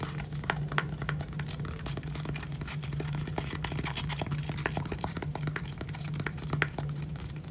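Fingertips and nails tap and scratch quickly on the lid of a small, hollow, pale-grey rigid cardboard gift box with gold lettering, held close up. The result is a dense run of short, dry, papery clicks and scrapes over a steady low hum, with an occasional brighter, sharper tap standing out.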